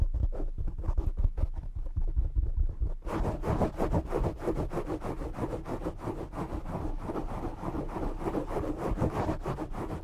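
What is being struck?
Foam microphone windscreen.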